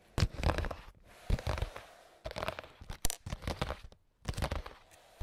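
A clear, translucent printed plastic makeup pouch holding small items is tapped with AA battery tips worn on the fingers. The result is bursts of rapid crinkly, crunchy taps with dull low thumps, grouped in several clusters separated by brief pauses.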